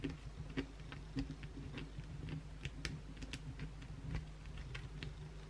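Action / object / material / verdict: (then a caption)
scrape / soap bar scratched with acrylic nails / soap / none. Long, pointed blue acrylic nails on both hands scratch the flat face of a solid white oval bar of soap. Quick, dry ticking scrapes and short bright clicks follow one another over a steady low hum, each dying away almost at once.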